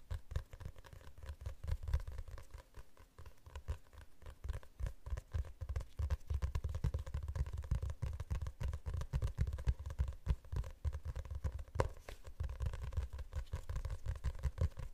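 Fingernails tap and scratch the cover of a glossy hardcover book held in both hands. A dense, steady run of quick, soft taps and scratchy rubs carries a dull, low thump, building slightly after the first few seconds. The result is a quiet, continuous patter.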